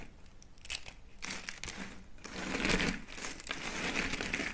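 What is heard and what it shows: Thin, hollow, dry soap curls in peach and white are crushed by hand on a mat into small flakes. The result is a continuous bright crinkling and crunching that swells and fades in dense waves rather than separate hits.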